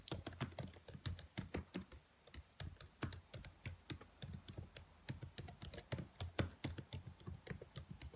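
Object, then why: Plastic laptop keyboard keys. Fingertips with long nails tap and type quickly on the black plastic keys of a dark laptop keyboard. A rapid stream of short, crisp clicks comes with soft low thuds and very little ring, pausing briefly near the two-second mark before resuming steadily.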